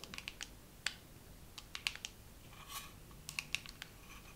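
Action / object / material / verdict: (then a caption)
tap / small plastic dermaroller case / plastic / none. A dermaroller case is tapped slowly with long nails, giving about fifteen short, bright, dry clicks at an uneven pace. A faint brushing swish comes near the middle. The taps are quiet and die away almost instantly, with no ring.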